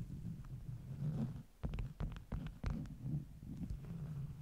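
Long nails tap and scratch the top sheets of a stack of flat beeswax-coated cotton wraps. Soft, quiet taps and dull scratching stand out over a low, rumbling bed of sound. Each tap has only a short ring.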